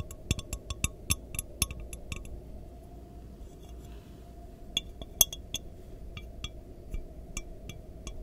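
Long nails tap rapidly on the sides of an empty, lidless clear glass measuring jar with markings, held in both hands close to the mic. Quick bursts of bright, short clinks give way to a quiet stretch midway, then the tapping resumes. A steady low rumble runs underneath throughout.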